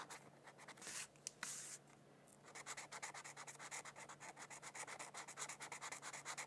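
A felt-tip marker rubs and scratches along the border of a thin white paper mandala coloring sheet resting on a book. A few louder, breathy hissing swipes come first, then a steady run of quick back-and-forth strokes that sound bright and scratchy with almost no low end.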